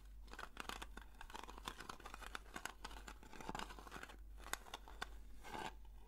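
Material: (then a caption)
Metal. Long fingernails scratch the lid and side rim of a round blue metal Nivea cream tin. The sound is a dense, dry, crackling scrape broken by many sharp bright ticks, over a steady low hum.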